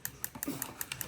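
A small bolt-action pen taps the metal bezel of a G-Shock Mudman watch in Rescue Yellow, making eight light, quick taps. Each tap is a bright, high-pitched click that dies away almost at once, with little low end, confirming the bezel is metal.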